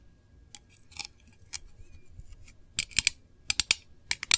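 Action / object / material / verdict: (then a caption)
tap / small thin metal tin with lid / thin metal / none. Long nails tap the lid of a small, round, hollow printed metal candle tin, then both hands' nails tap its edge and sides. About a dozen sharp, bright, dry clicks with almost no ring come at an uneven pace. They start soft and sparse, then grow louder and closer together in the second half.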